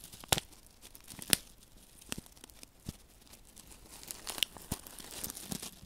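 Fingertips rub and crinkle a small flat paper silica gel desiccant sachet filled with silica beads close to the microphone. Quiet, bright, papery crackles and sharp crinkling snaps come at an irregular pace over a soft rustling bed. Each snap dies away almost instantly.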